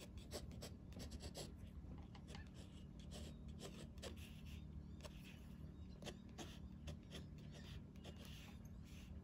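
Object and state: Paper sketchbook page scratched by a pen nib.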